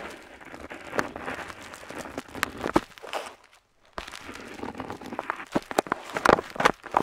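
The metal nib of a dip pen scratches along a flat paper map sheet on a table while drawing lines near the coast. Dry, bright scratching strokes mix with sharp clicks and ticks. There is a brief near-silent pause midway, and then the scratching resumes with louder, crisper taps.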